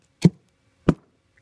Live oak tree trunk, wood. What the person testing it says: i also can hear that it's hollow up underneath this area right here